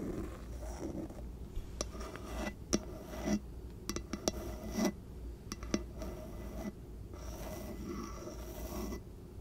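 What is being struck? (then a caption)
Bamboo jar lid. Long nails scratch and tap across the flat top of a round wooden bamboo lid sitting on a small glass jar. A steady soft, dry rasping runs throughout, broken by scattered sharp, quick clicks that stop at once with no ring.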